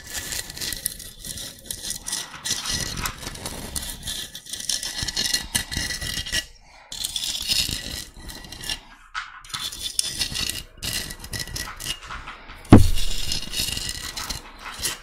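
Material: Shell.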